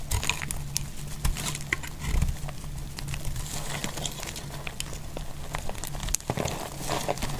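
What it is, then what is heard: Dry bar soap shaved with a knife. A metal utility knife blade shaves crisp flakes off the edges of a solid pink dry soap bar held in the hand. Dense, dry crackling and scraping clicks run throughout, with sharp bright snaps over a steady low rumble.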